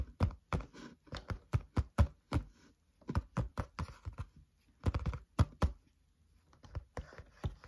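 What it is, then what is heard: Spiral notebook. Fingertips tap on the cover of a flat green-covered spiral notebook lying on a table. Steady rhythmic taps make short, dull, low thuds that die away almost instantly, with a couple of brief pauses between runs.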